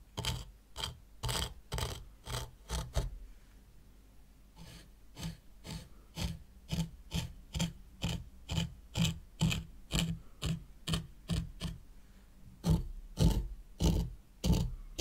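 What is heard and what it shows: A white plastic rake, held in long-nailed fingers, is dragged through fine sand in a small hexagonal zen garden tray. About thirty short, dry rasping scrapes follow one another at roughly two per second, each with a low thud-like body and a bright gritty hiss. There is a brief quieter stretch after the first few seconds before the steady raking resumes.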